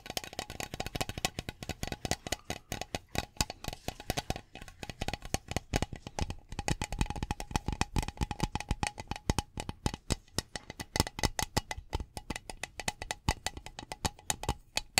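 Fingertips and nails tap rapidly on the body of a hollow metal Glade aerosol air freshener can held up in the air. The result is a dense, steady stream of short, dry, tinny clicks with a bright edge and a faint hollow tone, each dying away almost instantly.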